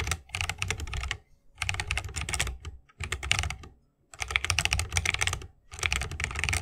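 Rapid fingertip typing with both hands on a 60% mechanical keyboard with a bamboo wood case, plastic keycaps and tactile Holy Panda switches. The keys clack in four quick bursts separated by short pauses, each press a crisp, bright click over a deeper thock that dies away almost instantly.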